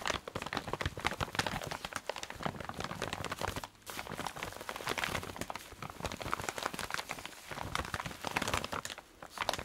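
A clear plastic zip-lock bag holding a dark red fabric item is squeezed, crinkled and scratched with fingernails. It makes a dense, continuous run of bright crackling and crinkling with sharp, dry clicks, pausing briefly around the four- and nine-second marks.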